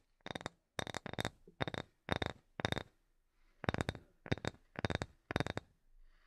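A small, solid, light wooden block held in both hands is tapped with long nails and fingertips. Quick bursts of clicky taps come in clusters separated by short pauses, each with a bright, ringing edge and a soft low knock beneath. The taps die away almost instantly.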